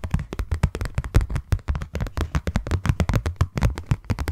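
Long nails tap quickly on a closed, hollow, hand-sized white cardboard box. A fast, uneven run of short, dull taps is heard, each a deep hollow thump that dies away almost at once with little brightness.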